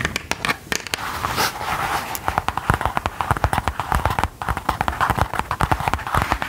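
A soft, flat gold faux-leather pouch or clutch, apparently empty and held in the hands, is tapped and scratched with long gold metal filigree claw nail covers. Rapid, crisp clicking taps alternate with grainy, rustling scratches, each tap dying away almost instantly with a dry, close sound.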